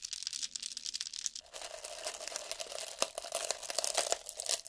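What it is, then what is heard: Glass jar of dried herbs. A small clear glass jar, partly full of dried green leaves or herbs, is held in the hands while fingertips and nails tap and scratch it and shake it. The dry contents rustle and crinkle brightly at first. After about a second and a half, a steady ringing tone around 560 Hz emerges under quick clicking taps and scratches.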